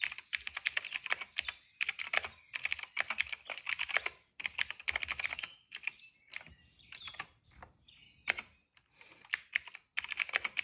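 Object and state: Plastic mechanical keyboard.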